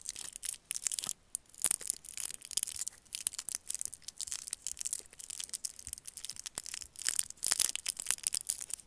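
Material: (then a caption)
Plastic film. A single small hard candy in a twisted, crinkly plastic wrapper with a red, white and blue Roshen print is held between fingers and thumbs and squeezed and rubbed so the wrapper crinkles. Dense, bright crackling and rustling comes in rapid bursts with brief quiet gaps, with almost no low end and each crackle stopping instantly.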